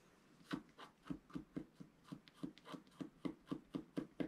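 A wooden stylus lightly scratches fine lines into the black coating of a flat, roughly A4 scratch-art sheet lying on a table. About fourteen short, quiet scratching strokes come in a steady rhythm, each a brief dry rasp with a low-mid body that stops almost at once.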